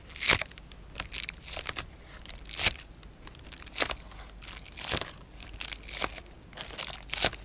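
A large, thin, flexible sheet of clear polyethylene bubble wrap, held up in both hands, is crinkled and pressed with fingertips and short painted nails. Bright, crackling crinkles come in irregular bursts, with sharper loud crunches standing out about every second.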